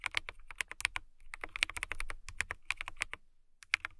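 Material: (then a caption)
Plastic. Long-nailed fingertips type on a clear plastic mechanical keyboard with transparent keycaps. A fast, uneven run of sharp, bright clicks and taps comes with brief pauses, each stroke dying away almost instantly.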